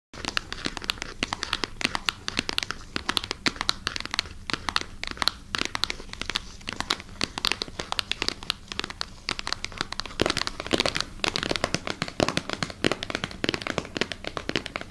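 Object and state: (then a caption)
Plastic packaging bag. Long natural nails scratch and squeeze a clear, crinkly plastic packaging bag holding a wooden massager, held close to the mic. The clip is a dense, continuous stream of sharp, bright crinkles and crackles with little low end, each snap dying away almost instantly.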